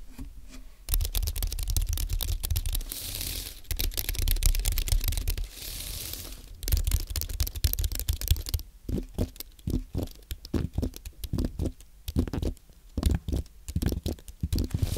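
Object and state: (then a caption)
Aluminium and plastic low-profile keyboard. Fingertips type on a compact white aluminium and plastic Apple keyboard with low-profile plastic keys. A dense, fast run of soft, thumpy clicks fills the first half, then the typing slows into sparser, separate keystrokes with short pauses between them.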